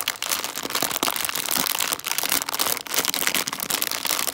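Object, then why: Plastic bag of foil-wrapped chocolate coins. A small clear-and-printed plastic candy bag (142 g) full of foil-wrapped chocolate coins is squeezed and crinkled with fingertips and long dark nails. Dense, bright crackling and crinkling runs almost continuously, with little low end and quick, sharp peaks.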